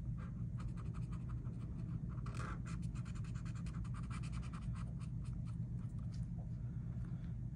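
A felt-tip marker held in one hand rubs and scratches quick strokes across a flat paper coloring book page printed with a mandala, which lies on a table while the other hand holds it still. The result is a steady run of soft, dry, papery scratching strokes with bright hiss, over a constant low hum.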